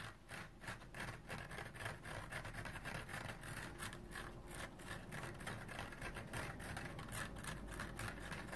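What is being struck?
Foam sponge with nylon scouring layer.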